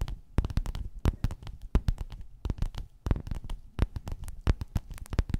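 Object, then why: Padded quilted faux-leather cover. Long natural nails tap and scratch across a flat, soft, padded gold metallic faux-leather cover with a square quilted grid, lying on white fur. The result is a rapid, irregular run of dull, muffled taps with soft scratching between them, mostly low in tone and with no ringing after each hit.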